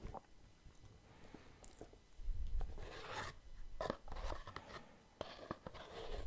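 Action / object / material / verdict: tap / small cardboard gift box with lid / cardboard / none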